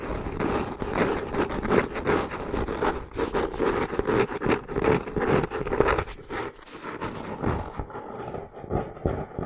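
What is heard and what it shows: Long nails scratch the brown cork-textured cover of a solid hardcover notebook held in both hands, making a fast, dense, rasping scratch with a low mid-range tone. The scratching runs in quick, uneven strokes, then thins out and turns softer and more scattered toward the end.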